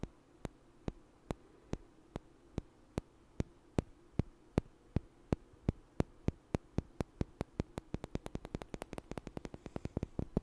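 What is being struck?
Small light wooden blocks.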